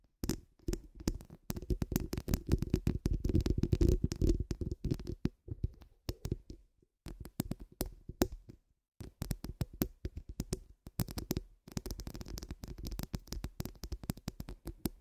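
Long acrylic nails on both hands scratch and tap the rounded, hollow steel wire-mesh grille of a large condenser microphone. The result is a dense, irregular stream of quick scratchy clicks over a heavy, boomy low thump, with short pauses between bursts.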